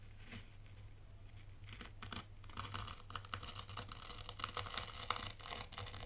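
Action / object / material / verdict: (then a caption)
scrape / fine sand in a shallow tray raked with a plastic rake / sand / none. A dark plastic T-rake scratches and drags through dry, fine white sand in a shallow tray, leaving parallel grooves. The strokes make bright, crisp, gritty scraping and rasping over a steady low hum, growing busier and louder as the clip goes on.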